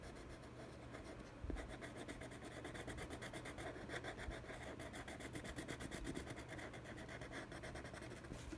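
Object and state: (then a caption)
Cardboard box lid scratched with pencil. A colored pencil tip, held in the fingers, rubs and scratches across the inside of a large, hollow, empty teal printed cardboard FabFitFun subscription box lid (2017) while coloring in the logo. The result is a quiet, steady, rapid stream of dry, papery scratching strokes with a soft hollow low body, with a slightly louder tap near 1.5 seconds.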